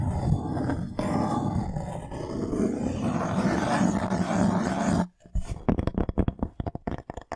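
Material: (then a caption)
Wood. A thin, flat, solid light-wood plank held in both hands has its face rubbed and scratched with fingernails. For about five seconds a steady, dense, low-heavy rubbing drone carries a faint hum. After a brief silence comes a quick run of short, dry, separate scratches.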